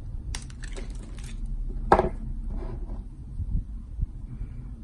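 A box-cutter blade carves and scrapes a palm-size, solid pink and white striped bar of soap held in the hand, shaving it into curls. Soft, dry scraping strokes with bright hiss are heard over a low background rumble, with one sharper, crisp cut standing out near the middle of the clip.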